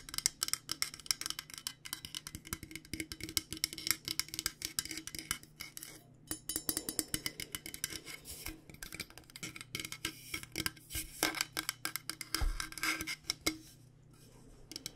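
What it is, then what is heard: Insulated stainless steel water bottle. Long nails tap rapidly and continuously on the body and base of a purple-coated, insulated stainless steel water bottle. The result is a dense stream of bright, clicky metallic taps with a faint ring near 2.1 kHz that dies almost instantly, over a steady low hum. The tapping stops shortly before the end.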